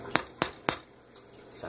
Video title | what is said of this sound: Baking with Sourdough! Part 4 - Baking a Basic Sourdough Loaf | see if it sounds Hollow sounds pretty Hollow